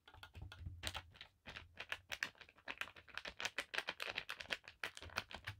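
Long black nails tap and scratch along a thin navy blue paisley cotton bandana lying flat on a table. The result is a quick, uneven run of short, dry, bright clicks and soft scratches, much like keyboard typing. A faint low rumble sits underneath early on.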